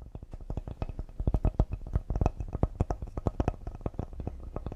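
Fingertips and nails tap quickly and lightly on the face and side edge of a solid cedar serving board with a handle, held in front of the body. The result is a dense stream of short, dull wooden knocks, heavy in low tones with almost no ring.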